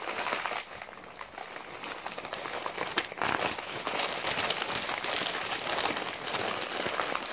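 A crumpled stack of blue-and-white glossy printed magazine pages resting on a lap is squeezed, crumpled and flipped by fingertips. The result is a continuous, dense crinkling and rustling with many quick, irregular crackles, bright and papery with almost no low end. It dips quieter for a moment near the start, then stays steady and busy to the end.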